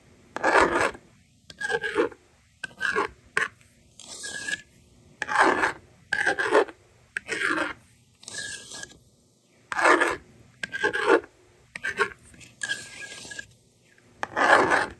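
A yellow stylus scratches numbers onto a handheld plastic toy magnetic drawing board, then the plastic eraser slider is pulled across. The result is a series of separate rasping scratch bursts with bright hiss, alternating with smoother sliding strokes that carry a faint squeaky tone around 1.7 kHz, with quiet pauses between.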